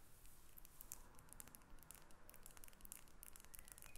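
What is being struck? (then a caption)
Small faceted glass perfume bottle with metal cap. A small, hollow, faceted glass perfume bottle with a metal cap is held and turned in the hands while long acrylic nails tap on it. The result is a quiet, steady stream of rapid, short, bright clicks and ticks over a soft low rumble.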